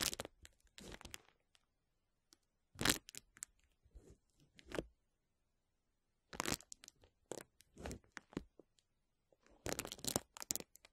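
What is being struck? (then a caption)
Plastic bubble wrap sheet. A large clear plastic bubble wrap sheet lies over the microphone while fingertips and short nails lightly scratch and rub across its air bubbles. Bursts of bright, crisp crinkling and rustling come in clusters separated by near-silent pauses.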